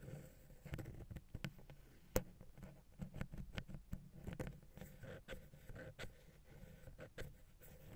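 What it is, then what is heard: Metal mesh microphone grille tapped and scratched. A wooden ear pick taps and scratches the metal mesh grille of the small, hollow silver XY capsule on a Zoom H6 recorder. Quiet, dull, bass-heavy thumps and rustling scrapes come in an irregular series. Each tap dies away almost instantly, with a faint hollow tone near 500 Hz underneath.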